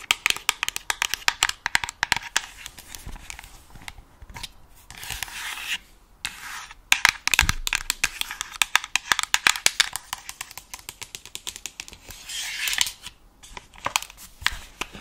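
Long acrylic nails tap and scratch the plastic shell of a white and black over-ear gaming headset with hollow earcups, held close to the microphone. Rapid, crisp clicks and dry scratching come in bursts, with hissy rubbing stretches in between. The sound is bright and thin, with almost no low end and very short decay.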